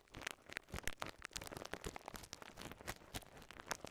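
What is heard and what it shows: A small ball of clear polyethylene bubble wrap with air-filled bubbles is held in both hands, squeezed, and popped with fingertips and thumbs. Quiet, rapid, sharp pops and crackles snap out in quick succession over a soft crinkling rustle, each pop short and bright with a little low thump.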